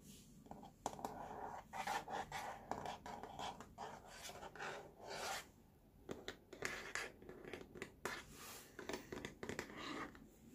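Fingertips and short nails scratch the tray of a hollow molded plastic baby walker with a blue rim and green tray front. The result is a quiet series of dry, raspy scratching bursts with a hollow tone around 800 Hz and bright high hiss, each stopping short with almost no ring.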